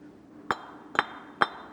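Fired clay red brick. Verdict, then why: Well-fired. A well-fired red clay brick is knocked three times, each knock giving a short, crisp, metallic clink that rings around 1.2 kHz and fades almost at once. The clear ring marks it as a good, fully fired brick.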